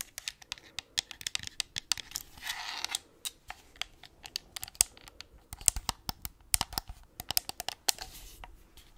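A white plastic gamepad with pink buttons and a hollow shell is tapped and scratched with long acrylic nails, and partly turned sideways near the mic. Around forty quick, dry, bright clicks sound with almost no ring. Softer, hissy scratching swells in between, most clearly just after two seconds and again near the end.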